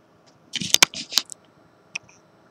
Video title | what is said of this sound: Le pouvoir de la pensé.. ?? | c'est solide je cogne dessus